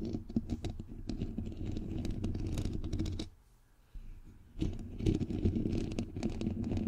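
Long nails tap and scratch around the bare, hollow white metal mesh head of a microphone grille. The result is a dense, rapid, uneven patter of close, boomy scratches and taps, heavy in the low end. The sound drops to near silence for about a second in the middle, then resumes just as busily.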